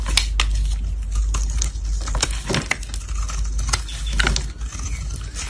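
A black blade scrapes crumbly white shavings off a solid cream-white soap bar held in gloved hands. Repeated crisp, bright scraping and crackling strokes sound over a steady low rumble, with the shavings crumbling away as the blade passes.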